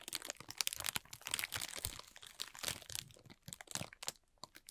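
A thin, clear plastic film bag is rubbed and crinkled with the fingertips of both hands, then gathered up. The result is a dense run of bright, crackly crinkles with little low end and no ringing.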